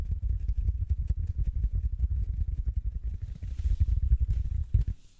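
A large, soft, solid yellow porous foam sponge held in both hands is squeezed, compressed and scratched with fingertips, giving a rapid, dense run of low, muffled thumps and rustles. Around the middle, a faint bright, airy scratching joins in, and the sound then fades away at the end.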